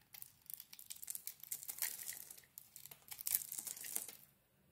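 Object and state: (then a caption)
Soap bar scraped with a knife. A knife blade scrapes crumbly flakes off a solid soap bar with a green dotted coating and a white core, held in the hand. It makes a quiet, dry, bright crackle of rapid scratchy bursts in two waves, then fades to near silence at the end.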